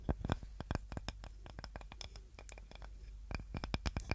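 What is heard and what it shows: A small, light-coloured wooden serving board with a handle, solid and flat, is held in both hands and scratched and tapped with long nails. A rapid, uneven series of short, dry clicks and taps stands out over a soft scratching texture and a steady low hum. Each tap dies away almost instantly.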